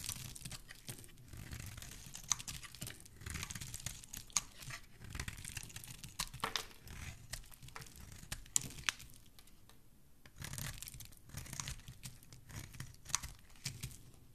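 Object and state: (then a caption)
Bar of soap being carved. A knife blade shaves and carves curls off the edge of a solid orange bar of soap held in one hand, with the shavings piling up below. Dry, crisp scraping and crackly cutting strokes repeat steadily throughout, bright and rustling with a soft low body underneath. A brief quieter gap falls near the ten-second mark.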